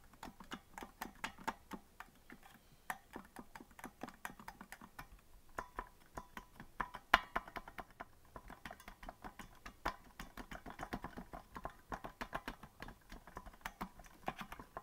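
Fingertips of both hands tap the plastic keys of a hollow green plastic melodica that is not being blown, producing a steady stream of quick, dry clicks. The taps are short and crisp with almost no ring, with a hollow clack centered around 1 kHz and a bright edge on each strike.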